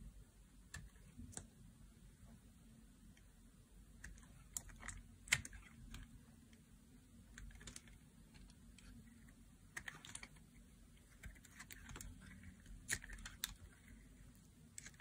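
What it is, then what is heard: Dry bar soap being cut. A knife blade slices and scrapes through a solid, dry pink bar of soap. Quiet, crisp clicks and short bright scraping crackles come at irregular intervals over a steady low hum. Each cut ends almost instantly with no ring.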